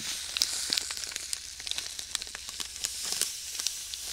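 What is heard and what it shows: A clear plastic bag filled with white sand is kneaded with fingertips, giving a steady, bright hiss of shifting sand. Irregular sharp crinkles and ticks from the plastic pop out above the hiss throughout, and there is almost no low end.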